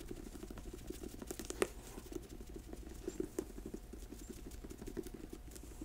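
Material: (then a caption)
Rubber. Long nails tap rapidly on the ridged rubber tread of a black boot held sole-up. The result is a quiet, dense patter of short, dull clicks with no ring, plus a few sharper, louder taps standing out.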